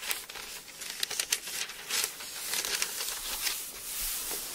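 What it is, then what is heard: Thin paper book pages being turned. Fingers pinch and flip the thin paper pages of an open Bible, then a hand rubs the page flat. The result is bright, papery crinkling and rustling, with quick crisp snaps as pages turn, followed by a softer steady swishing rub.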